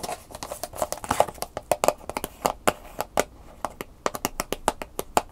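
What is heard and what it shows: Long nails tap quickly on the back of a round, hollow, rigid plastic clamshell package with a paper label, held in one hand, empty apart from the USB flash drive inside. About 32 crisp, dry clicks with a bright edge and a brief hollow tone around 600 Hz die away almost instantly, some landing in quick bursts.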